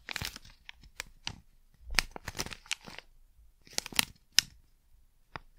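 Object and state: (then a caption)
Plastic packet crinkled. A small crinkly plastic Blu Tack packet is crumpled and crinkled in the hand close to the microphone. Irregular bursts of crisp, bright crackling and rustling are separated by brief quiet gaps, with sharp snaps and almost no low end.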